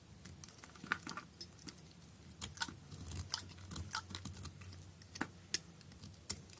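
A utility knife blade shaves thin flakes from the surface of a solid blue perforated bar soap with drilled holes, held in hand. Quiet, crisp scraping and crunchy clicks come in irregular bursts, with a few sharper bright snaps over a low, steady hum.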